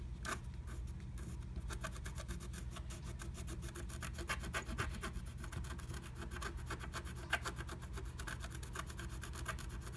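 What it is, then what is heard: Scratch art paper being scratched. A wooden stylus scratches the coating of a flat black-coated scratch art sheet through a butterfly cutout in a blue plastic stencil resting on it. Quick, uneven rasping strokes, roughly four a second, make dry, crisp scratches over a steady low rumble, and each stroke stops short with no ring.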